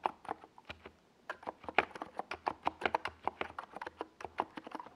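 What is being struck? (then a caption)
Plastic mechanical keyboard with tall plastic keycaps. Fingertips of both hands type on a NiZ Plum Atom 68, a compact 68-key mechanical keyboard with a white plastic case and tall purple and yellow Domikey Gas Attack SA plastic keycaps, resting on a desk pad. About 25 quick, dry, clacky key taps sound with a mid-pitched, hollow plastic tone and bright tops, with a brief pause near the one-second mark. Each tap dies away almost instantly with little low end.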